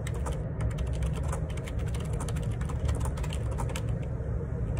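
Fingertips type steadily on a black plastic Perixx Periboard 612 wireless Bluetooth dual ergonomic split keyboard, with a hollow housing and plastic keycaps, resting on a desk. Rapid, continuous clicky key taps with bright clacks ride over a constant deep low rumble throughout.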